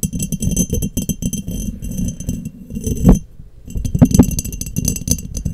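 Long nails tap and click quickly and unevenly on the sides of an embossed, clear, hollow, empty glass mason jar held in both hands. The taps carry a full low body with faint bright glassy ringing. Sharper clinks stand out just after 3 seconds and near 4 seconds, around a brief lull.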